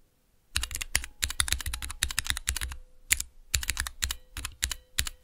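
Fingertips with long nails press and tap the clear plastic keycaps of a small 3x3 switch tester, with Cherry MX switches in a clear plastic base resting on dark velvet. After a brief silence, rapid bursts of sharp, bright plastic clacks follow, each with a dull low thud and almost no ring, over a faint steady hum.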